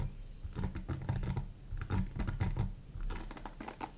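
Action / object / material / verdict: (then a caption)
flick / plastic paddle hairbrush with bristles / plastic / none. Long acrylic nails scratch and flick across the thin plastic-tipped bristles of a black rectangular paddle hairbrush with a hollow plastic body and rubber cushion, held up close. The result is a rapid, uneven run of crisp, bright clicks and scratches over a steady low rumble, with each tick dying away almost instantly.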